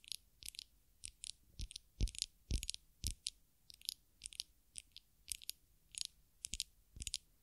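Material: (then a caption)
Glass. Long acrylic nails tap and scratch the glass sides of a small glass perfume bottle filled with amber-orange liquid and topped with a black square cap, held in both hands close to the microphones. The sound is an irregular series of bright, crisp clicks and brief scratches in quick bursts, some with soft low thumps beneath them. Each tap dies away almost instantly.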